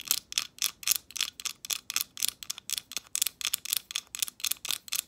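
Long pointed nails tap and scrape the dark ridged edges and flat surface of a leaf-shaped translucent glass ornament held up close. About 22 quick, bright clicks come in a fast, uneven rhythm, each dying away almost instantly with no low end.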